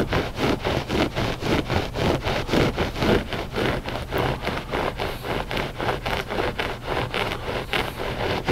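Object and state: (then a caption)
Loop-pile carpet rug being scratched. Short fingernails scratch a flat gray loop-pile carpet rug, solid and soft, in a steady back-and-forth rhythm. Each stroke makes a broad, dry rasping swish with bright texture, repeating just under twice a second over a low rumble.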